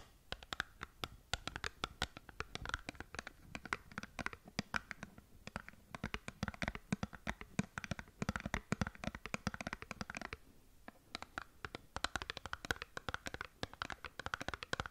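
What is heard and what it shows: Long nails scratch a small cardboard skincare box held horizontally close to the mic, making rapid, dense scraping and tapping clicks with bright, crisp edges over a low body. The scratching runs continuously with a brief pause near the middle, each click dying almost instantly.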